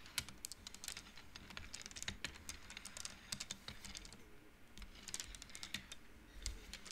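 Both hands flick and push painted wooden beads along the rods of an upright wooden-frame abacus. The result is a quiet, rapid run of short, dry, bright clicks with very little ring. The clicks cluster into bursts with brief lulls between them, over a faint low rumble.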